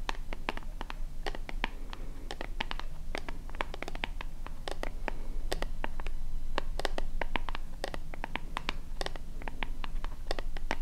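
Long fingernails scratch the front of a small, hollow white plastic lotion bottle with a purple pump top, held in both hands. Quick, irregular, crisp scratching ticks run steadily throughout, each one dry and short with bright edges, over a constant low hum.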